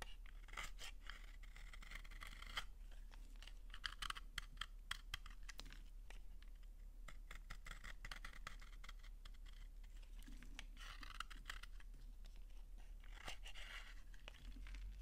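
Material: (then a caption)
Soap. A small metal blade held in one hand scrapes and shaves a solid, dry, translucent pink soap bar, palm-sized and held in the other hand, peeling crunchy curls that fall onto a pile of shavings below. Dense, crisp scraping crackles and sharp clicks come in bursts, with a bright edge around 1.6 kHz. A steady low hum runs underneath throughout.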